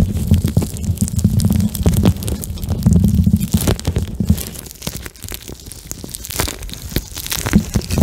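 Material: Plastic gel.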